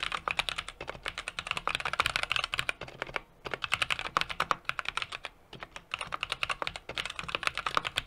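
Fingertips of both hands type rapidly on a small 60% mechanical keyboard with an aluminum case, brass plate and plastic keycaps. Dozens of crisp, bright key taps with almost no low end come in quick bursts, with brief pauses around the 3- and 5.5-second marks. Each tap stops almost instantly.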